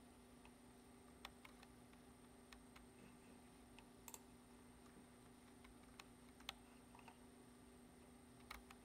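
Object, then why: Plastic computer keyboard. Fingertips tap the keys of a black plastic computer keyboard while typing, making sparse, short, bright clicks that die away almost instantly. The taps are quiet and irregularly spaced over a steady low hum and a faint high-pitched whine.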